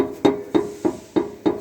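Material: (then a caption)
Steel. On a Compass, the steel exhaust pipe knocks against the tow hitch bracket, which was installed too close to it, as the car is shaken. Five sharp, hollow knocks with a mid-pitched tone around 400 Hz each die away quickly. This is a fault heard as a rear suspension noise.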